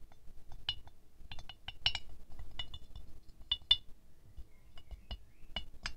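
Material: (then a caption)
Glazed ceramic. A thin wooden stick taps the petals of a small, solid ceramic rose ornament with a shiny silver glaze, resting on a white fur rug. The taps come in an uneven series, some quick and some slow, each a short, bright glassy clink that dies away almost at once. A soft, low rumble sits underneath.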